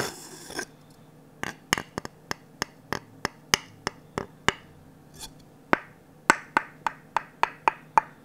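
The back of the empty bowl of a glossy orange varnished wooden ladle is tapped with the tip of a wooden stick, giving 21 dry, clicky knocks with a woody tone around 890 Hz. The taps come in an uneven, unhurried rhythm with a few quick pairs. Each knock dies away almost at once, leaving quiet gaps.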